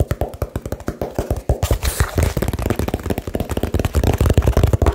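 A small hollow cardboard box is tapped extremely fast and aggressively with fingertips and nails, giving about 27 quick hollow, low thumps with very short, dry decay. A brighter, scratchier flurry rises briefly in the middle before the tapping settles back into a dense, steady patter.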